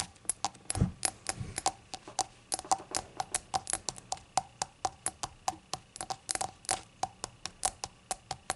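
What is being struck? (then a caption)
Glazed ceramic shot glass. A small, hollow, rainbow-glazed ceramic novelty shot glass, apparently empty and lying on a towel, is tapped and scratched across its glossy surface by long acrylic nails. Dozens of short, dry clicks ring at a mid-pitched tone with bright tops and almost no decay. A few soft, low scuffing sounds come between the clicks.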